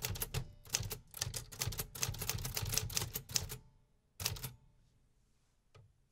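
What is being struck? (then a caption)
Metal typewriter keys. A 1950s Remington metal typewriter is typed on with fingertips in a steady rhythm, producing a rapid run of sharp, bright mechanical clacks with a low thump under each strike. After about three and a half seconds of continuous typing there is a pause, then a short burst of a few more keystrokes and a single faint final click.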